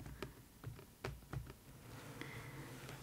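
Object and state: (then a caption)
Cardboard figure box. A hollow, printed purple cardboard box holding an Idol Master Banpresto figure is held in one hand and tapped with long acrylic nails. Six light, dull taps click briefly and die away almost at once over a faint low background hum.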